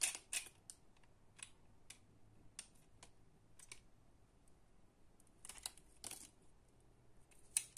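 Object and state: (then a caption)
Bar of soap being cut. A green utility knife slices and scrapes small cubes off a solid, palm-sized bar of soap that is held in both hands. The soap has a pale green base and a purple coating scored into a grid. The clip is a quiet series of about sixteen short, crisp, bright cutting and crunching sounds, uneven in spacing, as the blade cuts through the solid soap.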